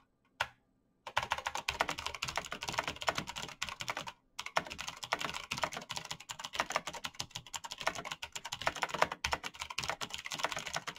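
Fingertips in fingerless knit gloves type fast on a black plastic mechanical gaming keyboard with clicky green switches, backlit keys and a hollow case. After a single tap and a short silence, a dense stream of bright, sharp clicks runs on with only brief pauses. Each click is crisp and dies away almost instantly.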